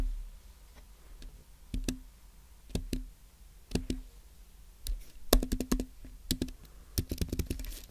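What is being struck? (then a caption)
Aluminum-base keyboard with plastic keys. Fingertips type on a white Apple Magic Keyboard, its plastic keys set on a thin aluminum base resting on a white desk. Short, crisp key clicks arrive in irregular bursts, each with a soft low thud and a brief tone near 250 Hz that dies away almost at once. A short pause breaks the typing before it resumes in quicker, denser runs.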